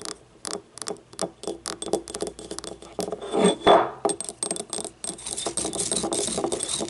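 Long nails tap a small, hollow, yellow, ribbed ceramic paint cup, first on its labeled base and then, with the cup upright, on its outer wall. Quick, uneven clicky taps carry a short, bright ring, swelling into a louder rasping stretch midway. The clip ends in a dense, steady run of rapid tapping.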